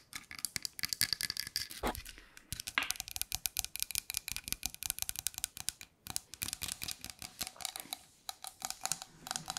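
A tall painted wooden nutcracker soldier with wooden ball-tipped arms and a red base is held in hand and tapped and scratched with long nails, its parts rattling as it is handled. Dense, quick, dry clicks and taps follow one another steadily, bright and high with almost no low end and no ring after each hit.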